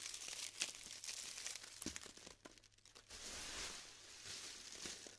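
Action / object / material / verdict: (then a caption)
scrape / glued polystyrene foam beads / polystyrene foam / none. Fingertips rub, crumble and break a dry mass of small pastel styrofoam balls glued into crumbly chunks, heaped in a round black tray, with loose beads falling back onto the pile. Dense, bright crinkling and crackling with sharp snaps and pops runs throughout, dipping briefly before a steadier rustling resumes.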